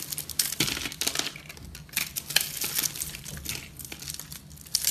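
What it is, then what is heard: Porous soap bar scraped and cut with a knife. A metal knife scrapes and cuts through a porous, airy pink foamy soap bar held in the hand, breaking off crumbly pieces. The sound is a dense run of dry, bright crunching and crinkling bursts with short crackles and no ringing, pausing briefly between strokes.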